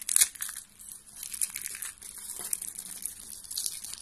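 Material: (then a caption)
Soap. A hand with long pink nails grabs a pile of thin, light-blue dry soap shavings and crushes them. The result is a dense, crunchy crackling that stays bright and high, with almost no low end. A sharp burst at the start settles into steady crinkling for the rest of the clip.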